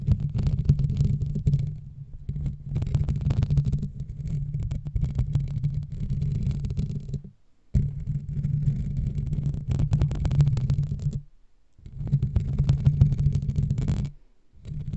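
Fingertips and medium nails of both hands scratch and rub a hollow black foam windscreen on a microphone. The result is a dense, muffled, low rumbling scrape with fast, irregular friction texture and faint bright hiss. It comes in long continuous bursts broken by brief silences.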